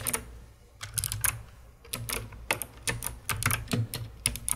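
A COX CK900 S2 full-size mechanical keyboard with white plastic keycaps, a hollow dark plastic case and some keys lit purple is typed on by fingertips with long red-painted nails. The clip is filled with uneven, bright, clacky keystrokes that come singly and in quick clusters over a low hum.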